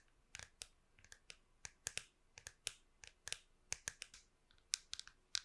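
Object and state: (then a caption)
Plastic computer mouse. Long pink nails tap the smooth, curved top of a small, hollow plastic wireless computer mouse held flat in one hand. About 18 quiet, sharp, bright clicks come in an irregular rhythm, each dying away almost instantly with no ring and almost no low end.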